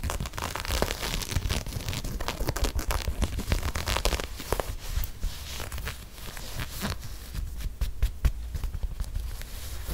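Long nails scratch along the ribbed knit of an empty, hollow lime green and grey knit textile sneaker held in one hand. The result is a dense, continuous run of dry, crackly scratching with bright rasping texture over a low, muffled rumble from the handled shoe.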